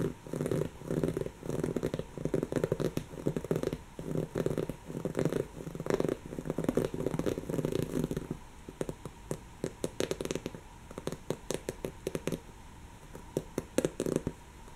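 Long natural fingernails scratch a soft, stuffed, brown textured woven-fabric cushion, making rhythmic bursts of dense, low, rustling scratching for about the first eight seconds. The scratching then turns sparser, with quick, bright clicking strokes across the weave.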